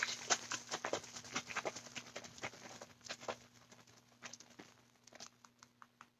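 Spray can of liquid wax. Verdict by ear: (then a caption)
Unmixed. A spray can of wax, whose wax separates when it sits, is shaken in about 21 quick, bright rattling strokes. The shakes start loud and grow quieter and sparser toward the end. Since the can is still loud while shaking, the wax is not yet fully mixed; a can that has gone quiet is ready to use.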